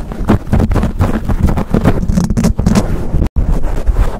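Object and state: Foam microphone windscreen being scratched.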